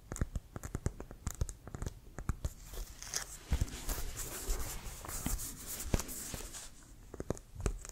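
Fingertips tap and rub the pebbled surface of a brown, leather-covered American football with a white stripe, which is hollow, inflated and held in one hand. The result is a quick, uneven series of short, dull, low thumps with sharp clicky edges. Soft, scratchy rubbing fills the gaps between taps.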